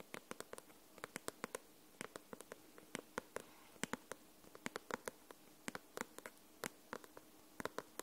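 Long nails tap the glossy paper cover of a paperback book held upright, in a long, uneven run of quick, dry clicks that come singly and in small bursts. Each tap is sharp and bright with almost no ring, set against a faint steady hiss.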